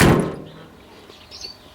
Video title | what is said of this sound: Donald's new wheels; | Modern cars don't make solid sounds like that.